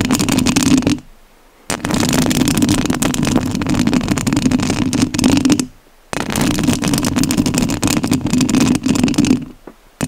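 Long nails scratch the metal mesh grille of a rhinestone-covered studio microphone. The result is dense, gritty rasping in three long stretches, separated by short near-silent pauses, with a steady low hum running under the scratching.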